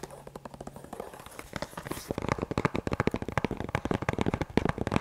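Fingertips and nails tap and scratch the leather flaps of an empty, small black leather double-compartment duty magazine pouch held up in both hands. Soft, scattered taps and scratches grow into a rapid, louder run of dry, short clicks and crackles from about two seconds on.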